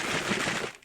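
A cardboard box holding pill bottles, including prenatal vitamins, is shaken, producing a dense, bright rattle of pills. The rattle is steady for most of the clip, then fades out near the end.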